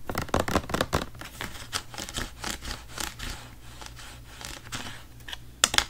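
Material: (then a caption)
Plastic. A large, hollow blue plastic Bissell carpet-cleaner bottle, apparently full, is held in one hand and tapped and scratched with the fingertips of the other. A rapid run of dry, bright taps and scratchy rubbing fills the first second, then softens into quieter scraping and light tapping, with a couple of sharper taps near the end.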